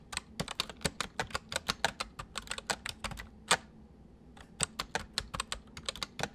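Fingers type on a full-size white plastic mechanical keyboard with white keycaps resting on a wooden desk, the left hand typing while the right hand taps the numpad with its fingertips. About thirty sharp, bright, short clicks come in quick succession, with a brief pause near the four-second mark before the typing resumes.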